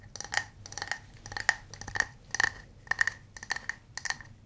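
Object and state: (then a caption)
Small wooden cup. A small hollow wooden cup is held and tapped around its sides with fingernails and fingertips. The result is a quick run of dry, clicky taps, each with a light hollow tone near 1.8 kHz and a bright edge, dying away almost instantly. The taps come in uneven clusters over a faint low hum.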